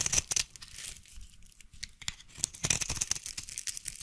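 A solid white bar of soap held in one hand is carved and scraped with a small blade, and mid-stretch scissors scratch its surface, sending shavings onto a pile of soap flakes. The sound is a run of crisp, bright rasping and scraping strokes, mostly high-pitched with little low end, with quieter stretches between the louder bursts.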